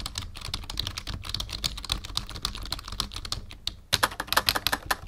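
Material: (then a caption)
Plastic. Fingertips of both hands type on a black full-size plastic membrane keyboard with a numpad resting on a wooden desk. A steady, rapid stream of bright, clicky key taps with soft low thumps briefly eases near the end, then returns as louder, sharper taps.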